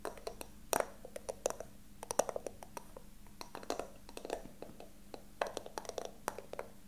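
A small, hollow, rectangular brown wooden box with a carved ornamental pattern is held in the hands while fingertips and short nails tap and scratch its surface and sides. Quick, dry, woody clicks and taps come in an uneven patter, each dying away almost instantly, with soft scratching between them and a faint steady low hum underneath.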